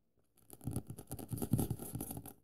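A dense run of short, soft ticks and scratchy strokes, close to the ear, with a muffled low thud under each tap. The sound dies at once. It is dry and papery, like nails working over a stiff printed cover on a thick stack of pages.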